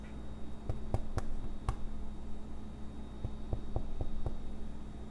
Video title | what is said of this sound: Basque Sheepherder's Bread in a Dutch Oven Recipe | it sounds like I'm knocking on a door